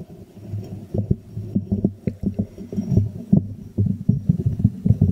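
A small hollow white ceramic jar is held upside down in both hands over a microphone while fingertips and nails tap and scratch its glazed base and sides. The result is a quick, irregular run of dull, hollow, low-pitched knocks with short decays, layered over a soft scratchy murmur and almost no high end.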